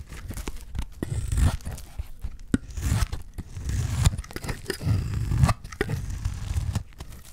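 A utility knife blade scrapes and slices across the face of a solid, dry green olive soap bar held in hand, shaving off flaky curls. Each stroke gives a dry, crunchy, tearing scrape, heavy in the low end, repeating in a steady series of short bursts with brief pauses between them.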